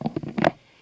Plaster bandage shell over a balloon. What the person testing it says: it's dry because the balloon will start to shrink away from the cast and it will make a hollow sound when you tap on it